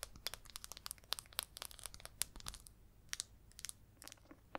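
Long red nails tap and scratch the lid top and side of a small red plastic baking powder jar. Quick, bright clicks and ticks come in an uneven, rapid flurry over a soft, dry scratching rustle, each tap dying away almost instantly.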